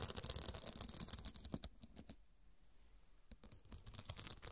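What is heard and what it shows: Long, dark, pointed nails scratch and tap across the square faceted glass studs covering a fabric cushion, making quick, bright, crisp clicks and scrapes. The dense clicking fades into a brief near-silent pause midway, then resumes with sharp taps and scratches.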